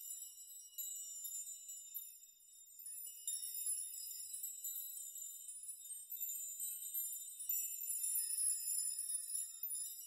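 A large curtain of many long, thin metal nails hangs around the player, and fingertips brush and rock them so they clink against one another. This makes a steady, bright, high shimmer of tinkling metallic chimes with short rings and no low end, swelling and fading as the nails are shaken.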